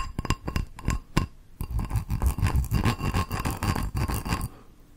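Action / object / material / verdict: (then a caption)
scrape / small ceramic bowl with textured surface / ceramic / none. Long nails scratch the raised geometric pattern on the textured outer surface of a small, hollow, empty teal ceramic bowl. A few separate scrapes come first, then a dense, rapid run of rough, low scratching with a faint glassy ring, fading out near the end.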